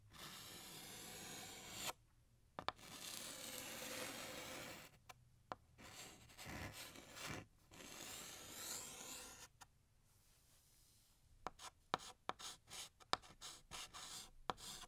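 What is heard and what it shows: A blue chalk stick held in the fingers draws a balloon outline on a large, flat, solid black chalkboard. Long, bright, rasping scrapes from the curved strokes fill the first half, separated by brief pauses. Toward the end they give way to a run of short, quick chalk ticks and scratches.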